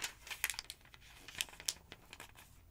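A thick paper phonebook lies open while a long-nailed hand riffles and flips a bunch of its thin paper pages. The result is a series of bright, crisp crinkling and snapping page sounds with quick papery rustles between them and almost no low end.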